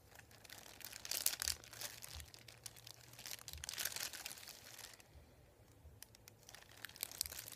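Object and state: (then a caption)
Paper sheet crinkling. Fingertips rub and lift the edge of a thin, flat, folded sheet of printed white paper resting on a wooden table, crinkling it. Bright, papery crackles and rustles come in uneven bursts, with a quieter stretch in the middle before the crinkling picks up again.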